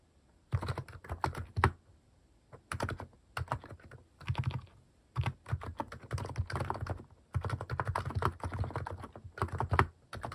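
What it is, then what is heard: Mechanical keyboard with plastic keycaps. Fast fingertip typing on a compact mechanical keyboard fitted with cat-shaped plastic keycaps, heard as bursts of dense, deep clacky keystrokes separated by short pauses. The keystrokes are low and thocky with a short, dry decay.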